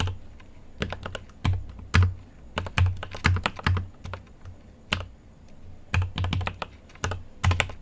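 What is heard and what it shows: Fingertips type on a mechanical keyboard with an aluminium case and plastic keycaps. Irregular bursts of sharp, clacky keystrokes have a deep, thocky low body and bright click tops, with short pauses between flurries.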